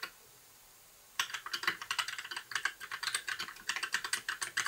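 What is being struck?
Plastic mechanical keyboard keys.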